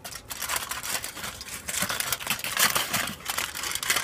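A thin, hollow, crumpled sheet of aluminium foil, hand-sized to larger, is held close to the microphone, crinkled and scratched with fingertips and nails, then spread out. It makes a dense, bright crackle of sharp clicks and rustles with almost no low end, each snap dying away quickly.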